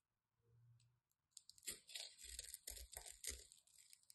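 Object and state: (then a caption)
Bar soap cut and scraped with a knife. A craft knife cuts and scrapes the edge of a solid white embossed bar of soap, breaking off crunchy chips. A brief low hum comes first, then a run of dry, bright crunching and scraping bursts at an uneven rhythm, each with a short thud underneath.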